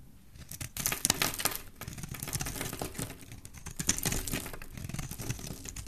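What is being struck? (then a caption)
Bar of soap. A solid oval pink soap bar with an embossed logo is held in the hand and shaved and carved with a utility knife blade, so curls and flakes fall off. Dense, crisp scraping and cutting strokes come in quick bursts with a bright, crinkly texture over a soft low body. The sound swells and eases throughout without a single loud hit.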